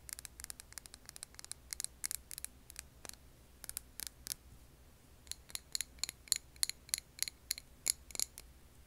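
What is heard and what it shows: Long nails tap on a clear glass jar filled with green wax candle, making a rapid, irregular series of sharp, bright clicks with very little ring. The taps come in two bursts separated by a short pause. The later taps carry a faint high glassy chime.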